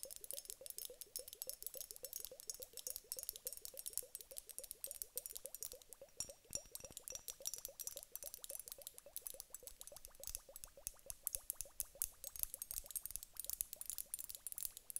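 Long acrylic nails tap rapidly on the upper bulb of a large clear glass hourglass filled with water gel beads. The result is a dense, steady stream of quick, bright clicks with a faint ringing tone around 500 Hz and almost no decay between taps.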